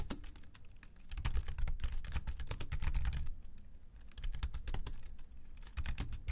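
Both hands type with their fingertips on the low-profile plastic keys of a slim white keyboard resting on a black desk. A rapid, irregular stream of short, dry clicks and taps is heard, bright on top with a soft low thump beneath. The typing runs steadily throughout, with brief lulls between bursts.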